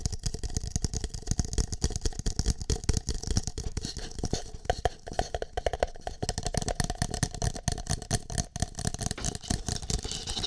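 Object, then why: Empty plastic cup. Fingertips tap and rub the side and base of a single empty green plastic cup with a shamrock print, held over the ear of a microphone. The result is a dense, irregular stream of quick, dry, low-heavy thumps with short rattles and scraping rubs, each hit dying away almost at once.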